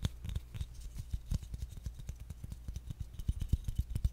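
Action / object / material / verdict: tap / engraved bamboo jar lid / bamboo / none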